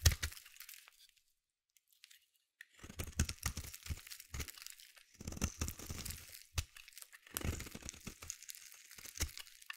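A metal blade edge scrapes across a solid blue bar of soap, peeling off thin crunchy shavings. Dry, crackling scrapes come in quick bursts with a low thud at each stroke and bright, papery crunch above. A brief pause near the start separates the first scrape from the steady run that follows.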